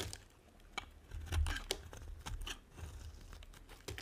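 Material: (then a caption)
Soap. A small metal blade scrapes and carves thin flakes off the surface of a hand-sized, solid, dry white soap bar held in one hand, with the flakes piling up behind it. It makes quiet, dry, crinkly shaving and scratching sounds, broken by short, bright clicks. A soft low rumble runs underneath.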